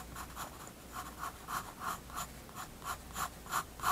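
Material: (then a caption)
Paper. A graphite pencil scratches fast shading strokes across the page of a spiral-bound paper sketchbook resting on a wooden desk. It makes a dry, papery rasp that swells and fades about three times a second in a loose back-and-forth rhythm, with a faint high hiss on each stroke. There is a soft constant low hum underneath.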